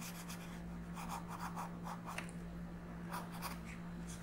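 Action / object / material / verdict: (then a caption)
scrape / colored pencil on a paper coloring page / paper / none. A pink colored pencil is rubbed in shading strokes across a flat paper coloring book page. Soft, quiet scratching strokes come in short bursts with a faint bright rasp, over a steady low hum that runs throughout.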